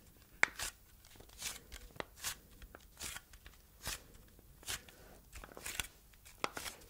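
Long red nails tap and scratch over the quilted ridges of a hand-sized red plastic heart-shaped container held in both hands, which seems hollow. Nine quiet, crisp, bright taps and scratchy strokes stand apart, each dying away at once with no ring.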